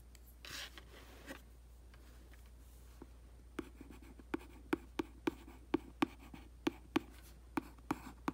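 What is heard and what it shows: A printed cardboard aquarium box lies flat and hollow on carpet and is scratched and traced across its surface with long dark nails and the tip of a thin black brush handle. Soft, breathy scraping in the first half gives way to a string of sharp, dry taps and clicks with a low hollow body and quick decay. A steady low hum runs underneath throughout.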